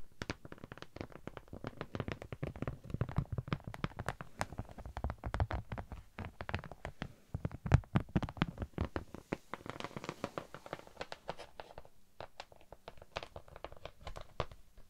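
A thin pink honeycomb-textured beeswax sheet, held up close to the mic with both hands, is scratched and tapped with long nails. The result is a steady stream of rapid, dry, crisp taps and scratchy clicks that stop instantly with no ring, with a soft, low-heavy body and a little high sparkle on the sharpest hits.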